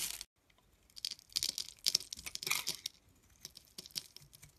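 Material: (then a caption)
Soap. A metal blade scrapes and cuts thin curls off the surface of a solid, palm-sized blue bar of soap with embossed lettering, held in the hand. Quiet, bright, crisp crackling and scraping comes in short bursts, with a brief silence near the start and almost no low end.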